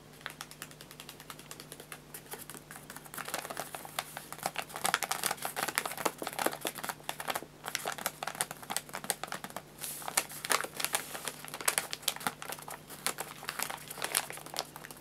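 Fingertips and nails drum-tap and scratch the folded paper top of a filled white paper bag of guinea pig food lying flat on a lap. Rapid, dense, crisp taps and crinkly scratching play over a faint steady low hum, with each tap bright, dry and quickly cut off. The tapping swells and eases in short bursts throughout.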